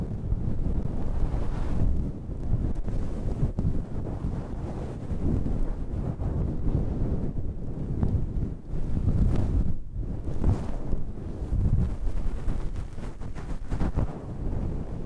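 Long red nails scratch the top of a dark grey fluffy synthetic faux-fur windscreen over a microphone. The result is a steady, muffled low rumble and rustle, like wind on the mic, with almost no high sound. The level swells and dips with the scratching.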